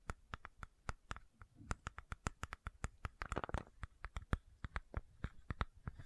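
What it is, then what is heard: Plastic supplement bottle tapped and scratched. Long nails tap and scratch the cap and body of a medium white plastic fish oil supplement bottle with a cap and a label. A quick run of short, dry clicking taps with a brief burst of scratching in the middle. Each tap dies away almost instantly, with a low thud beneath a light click.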